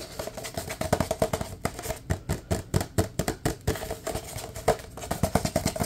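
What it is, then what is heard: Empty paper cup. A large, empty, hollow paper cup is tapped quickly and hard with fingertips while being moved around close up. The result is a rapid, uneven series of short, dull, hollow knocks with a low body and a papery midrange ring that die away almost instantly.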